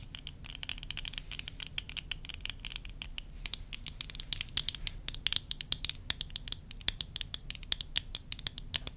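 Long nails scratch and tap the rims and temple arms of worn tortoiseshell plastic eyeglasses. Dense, rapid, sharp clicks and light scratching sit over a low, steady background rumble.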